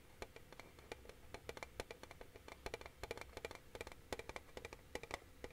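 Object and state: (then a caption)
Metal tin box. Fingertips tap on the flat metal lid of a hollow, flat rectangular tin box with rolled metal edges, held upright in both hands. A quick, uneven run of light, dry taps gives each one a short metallic tick with a faint tone around 500 Hz and a bright click on top, dying away almost at once over a quiet background.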